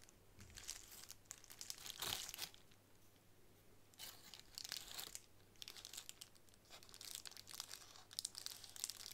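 A sheet of plastic bubble wrap held in the hands is crinkled and scratched with long nails. The result is soft, bright, dry crackling and scratching in bursts, with louder crinkles around two, five and eight seconds.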